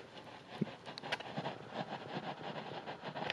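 A dead guitar amplifier speaker from a Fender Silver Face Twin Reverb has its cone moved gently up and down with even pressure, producing a faint, irregular scraping from the voice coil. The speaker is faulty: it overheated, warping the coil former so that it rubs on the pole piece.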